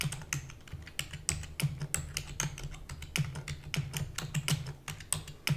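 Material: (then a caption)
Plastic. Rapid typing with long nails and fingertips on a black plastic computer keyboard. It makes a fast stream of short, dry clicks and clacks with bright edges and almost no ring, over a steady low hum.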